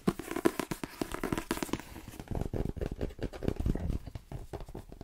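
Fingertips and long painted nails tap quickly on the glossy card cover and spine of a paperback novel, "The Twins", with a solid paper block. The taps come in a fast, dense run: crisper, brighter clicks at first, then duller, low, muffled thumps that die away almost instantly.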